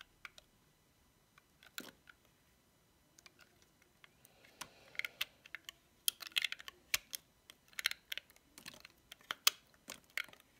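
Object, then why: Bar of soap cut with a metal blade. A metal utility knife blade cuts thick curls off a solid cream-white bar of dry soap decorated with cats and paws. Sparse, dry crackles and clicks at first grow into denser bursts of crisp, bright snapping in the second half. Each snap is sharp and quiet, with no low rumble and almost no ring.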